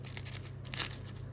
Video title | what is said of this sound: Баница с Картофи - нещо различно и много вкусно! | Чуйте колко е хрупкава отгоре. Направо пелест.